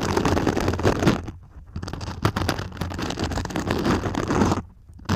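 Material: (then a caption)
Foam. Long pink nails scratch and tap the sparkly glitter foam surface of a medium-sized purple cone, likely hollow, held upright in both hands. The result is a dense, soft, scratchy rustle with a low, muffled body and quick taps mixed in. It breaks into brief quiet pauses near 1.5 seconds and again near the end.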